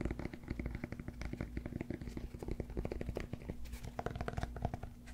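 Fingertips scratch and tap the face and edge of a solid cork yoga block held in one hand close to the microphone. A rapid, continuous run of dull, low-pitched taps mixes with soft scratching, with no ringing after each tap.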